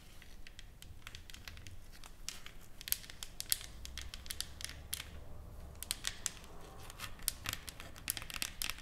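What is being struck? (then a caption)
Painted wooden plaque. Long acrylic nails tap and scratch across a flat, solid wooden plaque with burned lettering and painted flowers, lying on a table. Quick, dry, bright clicks land in an irregular stream over soft scratchy rustling and a faint low rumble, each tap dying almost instantly.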